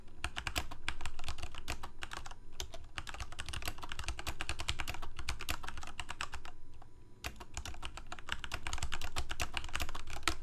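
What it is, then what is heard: Plastic mechanical keyboard. Fingertips of both hands type rapidly on a full-size Corsair K68 backlit plastic mechanical keyboard with Cherry MX Red switches. A steady stream of quick, clacky key taps rides over a low thud, briefly pausing about two-thirds through before the typing picks back up.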